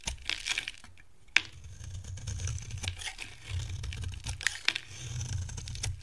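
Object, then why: Bar of soap scraped with a metal blade. A solid, hand-sized yellow Palmolive bar of dry soap, held in the hand, is shaved and scraped with a metal box-cutter blade, sending curls falling off. Dry, crisp scratching and crinkly rasps are heard over a low rumble, with a few sharp, bright clicks standing out as the blade catches.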